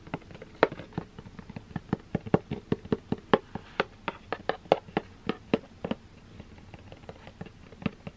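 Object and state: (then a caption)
Cardboard box tapped with fingernails. A closed, hollow, medium-sized black 3Dio cardboard product box is held up and tapped and scratched with long green-painted nails. About 27 short, dry, hollow taps land at an uneven pace, with a mid-toned knock near 430 Hz and almost no ring, separated by soft scratching.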